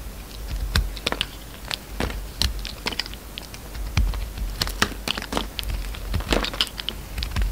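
A utility knife blade shaves curling slices off the peach inner part of a solid red and peach oval soap bar held in hand. Many short, crisp scraping ticks and crackles follow one another in an uneven patter, with bright edges and a soft low thump under some of the cuts.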